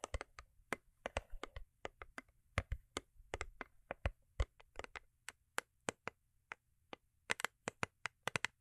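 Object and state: Cardboard gift box tapped with nails.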